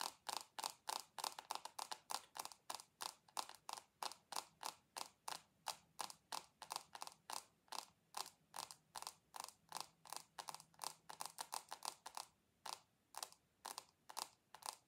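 Long acrylic nails tap rapidly on a rectangular dark glass perfume bottle with a gold base, held in both hands. About 57 short, dry, bright clicks come in an uneven rhythm, each dying away almost at once, with a tone centered near 1 kHz.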